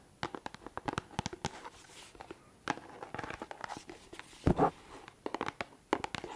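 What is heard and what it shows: Fingertips and nails scratch and tap the clear plastic surface and label of a hand-sized L'Oréal micellar water bottle with a pink plastic cap, hollow and partly filled with liquid, held close to the microphone. The result is a quick, uneven series of sharp, dry taps and crinkly scratches that stop almost instantly. They come in clusters with short quiet gaps, and a louder scraping burst arrives midway.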